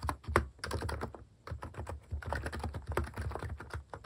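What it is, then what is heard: Plastic mechanical keyboard being typed on. A compact plastic mechanical keyboard with plastic cat keycaps is typed on steadily by fingertips on its left side. It gives a run of quick, soft clicks with a low thocky body, with a brief pause before the typing picks up again.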